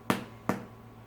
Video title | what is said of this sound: How to make honey whole wheat bread | Can you hear that that sounds hollow?